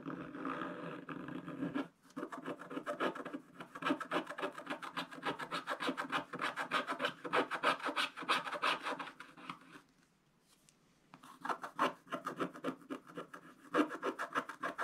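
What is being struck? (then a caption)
Wax-coated scratch-art paper scraped with a wooden stylus. A wooden stylus scratches and rubs across a black-coated scratch-art card page in a spiral book, making rapid, dry rasping strokes in a quick, uneven rhythm. The scratching stops briefly around the ten-second mark, then resumes with the same steady back-and-forth texture.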